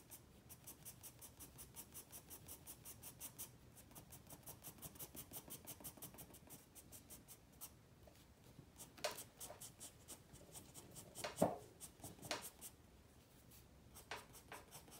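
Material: Paper.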